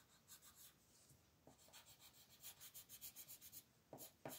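A dark blue wooden colored pencil is rubbed back and forth over a thin white paper mandala coloring sheet lying flat on a table to shade it. The result is a quiet, steady run of soft, bright, scratchy strokes, and the last few strokes are louder and fuller.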